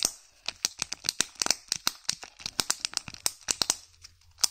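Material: Foil.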